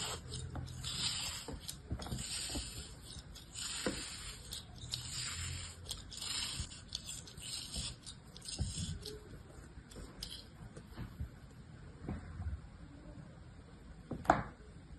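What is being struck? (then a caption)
Kinetic sand block. A small blade cuts and scrapes slices from a block of beige kinetic sand held in a palm. Soft, grainy scraping and crumbling come in bright, hissy bursts over a faint low rumble. A sharper, louder scrape stands out near the end.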